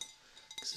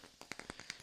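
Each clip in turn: First: glass vase. Second: wooden block.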